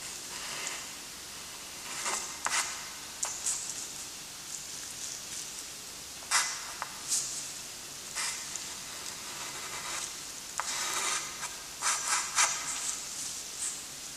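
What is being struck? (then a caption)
Graphite stick on a paper sheet. A thick graphite stick held in a gloved hand rubs and scratches dark gothic letter strokes onto a flat, lined, gray-toned drawing paper sheet. A quiet, bright, dry hiss of rubbing runs throughout, broken by several sharper, louder scratching strokes that fade quickly.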